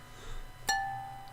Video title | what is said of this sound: Happy Hour live chat show 23 March 24 | now you know what a ping sounds like